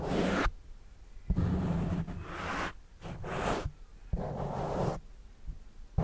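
A fingertip scratches and rubs the soft, porous black foam windscreen mounted over a microphone. Bursts of close, rough, low-heavy rustling swell and cut off, separated by short quiet gaps.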